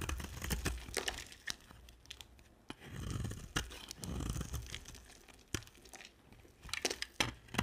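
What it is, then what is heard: Dry soap bar being shaved. A box-cutter blade shaves a yellow-and-white striped solid dry soap bar, making crunchy, crackling scraping cuts with sharp clicks as chunks break off. Longer, duller scraping passes swell in the middle of the clip, and a quick flurry of bright cracks comes near the end.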